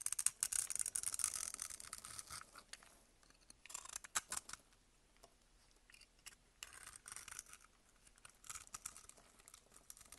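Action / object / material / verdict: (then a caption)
scrape / glycerin soap bar scraped with a metal blade / glycerin soap / none. A metal blade scrapes grid-cut pieces off a solid amber glycerin bar soap held in the hand. The scraping is quiet, bright and crisp, coming in short, crackling bursts with brief pauses in between.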